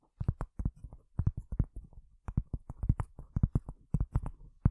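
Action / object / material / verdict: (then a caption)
tap / cork surface / cork / none. Long fingernails tap rapidly and irregularly on a cork surface, producing about two dozen soft, dull taps. Each tap is a short, low, muffled thud with almost no ring and no bright edge.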